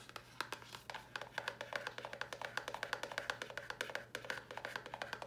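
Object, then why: Small cardboard box. A small, hollow white cardboard box with a red top is turned in the hands and tapped with long nails. The result is a fast, steady run of dry, clicky taps with a hollow tone around 1.6 kHz and almost no ring, over a faint low hum.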